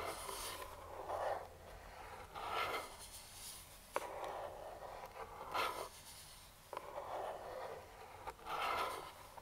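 A hollow printed cardboard speedlite box lies flat while metal claw finger rings scratch across it in slow, repeated rasping strokes. A few sharp, dry taps cut through between the passes. The result is a soft, papery scraping with a mid-range hollow tone and bright hiss on each stroke.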